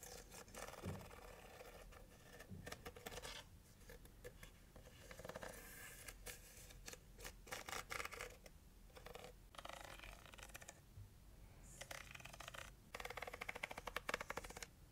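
Long nails scratch the inside and ridged walls of an open, empty heart-shaped cardboard box base with a white interior and red rim. Quick, dry scratching strokes come in bursts, with faint low thumps and brief pauses between runs.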